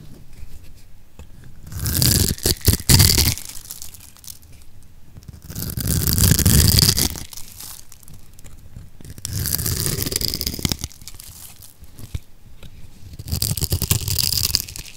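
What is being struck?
Bar of soap cut with a metal blade.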